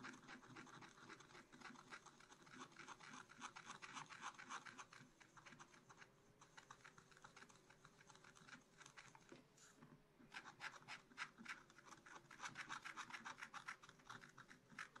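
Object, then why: Black-coated scratch-art paper scraped with a wooden stylus. A wooden stylus scratches rapid short strokes near the top of a black-coated scratch-art card in a spiral book. The result is a quick, steady run of dry, bright scratching with a faint low hum underneath. The strokes briefly pause around ten seconds, then resume a little louder.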